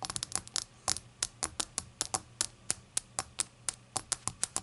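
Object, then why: Small glazed ceramic shot glass tapped with fingernails. Long acrylic nails tap the rim and body of a small, hollow, empty rainbow-glazed ceramic shot glass lying on a towel. About 22 bright, high-pitched clicks come in an uneven rhythm over a faint low hum, and each one stops almost instantly.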